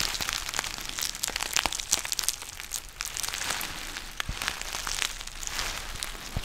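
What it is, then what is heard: Foil tea pouch. A black foil-lined plastic tea pouch with a ziplock top is squeezed and crinkled by hand near the mic. It makes a dense, bright crinkling full of sharp crackles and crunches that barely ring, all with little low end.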